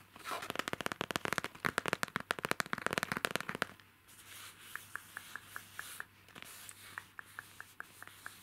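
Fingertips and nails scratch and tap the front of a hollow pencil case shaped like a strawberry milk carton, made of printed faux leather (PVC), held in the hands. For the first few seconds, a dense run of quick, crisp scratches and taps sounds, then it drops to quieter, evenly spaced light taps. Each tap gives a short, dry click with a faint tone around 1.4 kHz.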